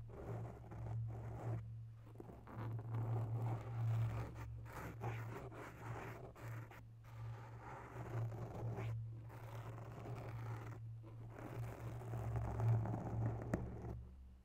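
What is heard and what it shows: Long natural nails on one hand scratch slowly across a grey foam microphone windscreen. The result is a soft, irregular run of muffled scratching and rustling, dominated by a deep, steady low hum with little bright content.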